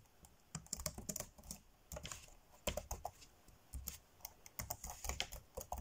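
Fingertips tap fast on the dark grey plastic chiclet keys of a laptop keyboard, typing in quick irregular bursts with brief pauses. Each keystroke is a short, dry clack with a soft low thump and a bright plastic click that dies away almost instantly.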